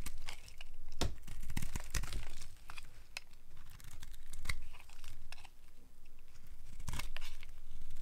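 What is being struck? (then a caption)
Bar of soap scraped with a blade. A solid cream-colored rectangular bar of dry soap is held in the hand and scraped with a utility knife blade, peeling off curly flakes. Dry, crisp scraping and crunching strokes follow one another in quick succession, each with sharp bright clicks over a low rumble.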